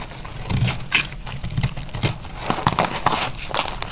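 A utility knife blade slices through a dry, pressed green-orange multicolor soap bar, and pieces break off. A series of crisp scraping cuts and crackling snaps comes through over a low thumping body, with bright high edges on each stroke and almost no ring after.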